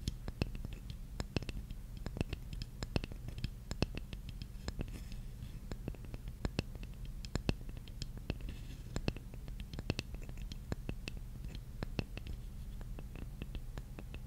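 A large, flat, solid wooden jigsaw puzzle piece is held in both hands and scratched with long nails. It makes a fast, dense stream of short dry scratches and sharp, bright ticks over a steady low hum. The scratching stays quiet and even throughout.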